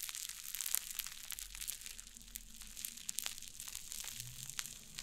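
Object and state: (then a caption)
Cloud slime. White fluffy cloud slime on a wooden table is squeezed and pressed with fingers and long nails. It gives a steady stream of soft, bright crackling and crinkling pops with a faint low hum underneath.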